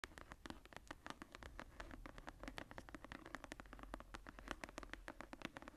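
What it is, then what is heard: Embossed leather journal cover. Long painted nails and fingertips scratch and tap the textured cover of a medium brown tooled-leather journal with a floral emboss, lying closed on a table. A quick, steady stream of short, dry clicks and scratchy taps rises over a quiet low hum, each tap dying away almost instantly.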